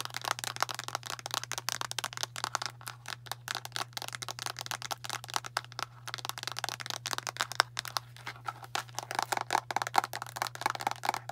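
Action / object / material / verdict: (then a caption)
tap / translucent plastic pill bottle with plastic cap / plastic / none. Long nails tap rapidly on the cap and sides of a medium translucent plastic Tums antacid bottle with a blue cap, full of tablets. The result is a dense run of sharp, bright plastic clicks with faint rattles, over a steady low hum.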